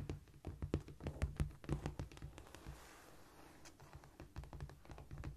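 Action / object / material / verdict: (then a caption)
tap / cork floor / cork / none. Fingers tap, scurry and scratch on a cork floor, giving soft, short, dull taps with a low thud, bursts of brisk scurrying, and a quieter stretch of scratching in the middle. The taps die away almost at once, with a faint brighter click at the tip of each.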